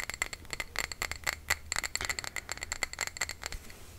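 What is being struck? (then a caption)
Glass jar filled with wax. A small glass jar filled with cream-colored candle wax is held in the hands while fingernails tap and scratch its glass sides. The result is a quick, rattling run of bright clinks with short rings near 2 kHz, over light scraping.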